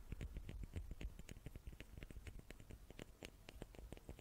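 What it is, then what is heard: Wooden cubes. Small wooden cubes are tapped with the fingers in a quick, uneven run of soft taps. Each tap is a short, dry click with a low, muffled thump beneath it, dying away almost at once. The tapping stays quiet and steady throughout.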